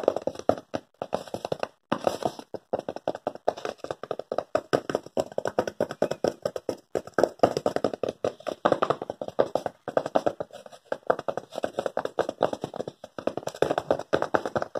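A thin white paper sheet or envelope held in both hands is tapped and rubbed with the fingertips and crinkled close to the microphone. A rapid, dense run of short, dry papery taps and crinkles fills the clip, centred in the midrange with almost no low end, and each sound stops almost instantly.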